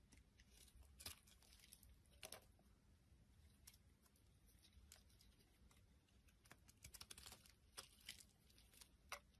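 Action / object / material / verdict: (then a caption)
scrape / soap bar shaved with a metal blade / soap / none. A metal utility blade shaves thin curls off the surface of a solid rectangular brown bar soap held in the hand. The result is a quiet run of crisp, bright scraping and crackling strokes, each dying away almost at once, over a faint low background rumble.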